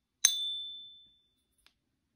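A 1 oz .9999 silver Australian Kangaroo coin, labelled real, is held edge-on in a black plastic Pocket Pinger clip and tapped once with a small wooden stick, while a second coin lies untouched on the table. The tap gives a bright, high metallic ping that rings as a clear tone for about a second before fading, followed by a faint tiny click. The long, pure ring marks it as a real silver coin.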